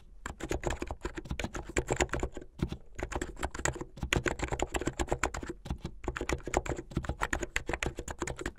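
Fast typing on a plastic mechanical keyboard with white and blue plastic keycaps and a blue case, fingers with painted nails striking the keys. A rapid, continuous stream of short clacky keystrokes with sharp bright attacks and a low thocky body, pausing briefly around 2.5 and 6 seconds.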